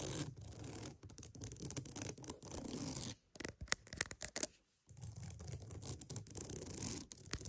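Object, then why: Wooden mat. A wooden mat is tapped and scratched for ASMR, with steady broadband scratching that fills the low and high range. In the middle comes a burst of sharp, quick taps, then a brief silence before the scratching resumes.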